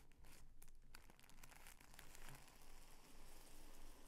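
Hands fold a narrow, multi-layer strip of folded purple tissue paper further and press it flat with their fingers. The result is a soft, continuous crinkling with bright crackles over a quiet low rumble.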